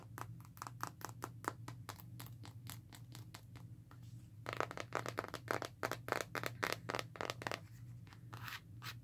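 Long nails scratch and tap the back and sides of a smartphone in a black, textured, rugged plastic and rubber case. The result is a rapid run of short, dry clicks and scrapes over a steady low hum, growing louder and busier about halfway through.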